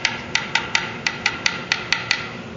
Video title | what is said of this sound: Parker Fly - How To Do A Fret Repair | the notes changing in in tone but it's still kind of bright